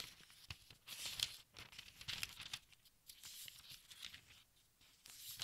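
Fingertips with nails lift and turn the thin paper pages of a large open textbook. Bright, crinkly rustling comes in uneven bursts, with sharp tearing-like crackles as each page flexes and settles. The sound is quiet and almost entirely high-pitched, with little low end.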